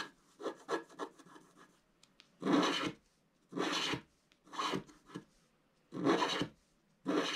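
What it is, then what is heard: Scratch art card being scraped. A wooden stylus scratches the moon and top area of a black, wax-coated scratch art sheet lying flat. Seven dry, rasping strokes come in an irregular rhythm: a few quick light scrapes, then longer, louder bright scratches separated by short quiet pauses.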